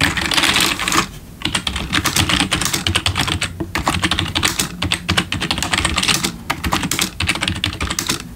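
Fingertips of both hands type rapidly on a black plastic RGB backlit computer keyboard resting on a wooden desk. The result is a dense, continuous run of sharp, bright keystroke clicks with very short decay and only brief lulls between bursts.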